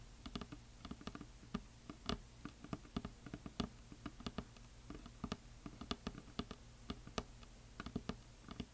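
Fingernails tap and scratch along the top edge of a solid wooden heart sign painted with glitter. They make a quiet, irregular patter of short, dry clicks, each dying away almost at once over a faint, steady low hum, with soft scratchy rustles between the taps.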